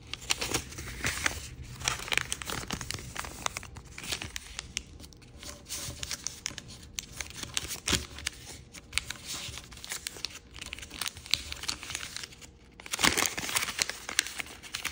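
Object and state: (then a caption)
Origami paper sheet. A small square of thin, patterned dark-red floral chiyogami origami paper is folded on a wooden table while fingertips crease and rub the folds. Dense, bright crinkling and papery rustles continue throughout, with a louder burst of crumpling near the end.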